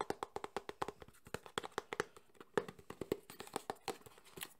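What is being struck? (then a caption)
Small closed cardboard box. A small closed cardboard Samsung phone box is tapped rapidly with fingertips and nails across its faces. About thirty quick, dry, hollow knocks sit around a mid pitch near 420 Hz, each dying away almost instantly, with brighter clicks where the nails strike.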